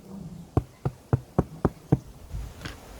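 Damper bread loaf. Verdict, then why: Baked. A freshly baked damper (bush bread) from a camp oven is knocked on its bottom, giving six short, dull, low hollow thuds with almost no ring. The hollow sound shows the loaf is baked through.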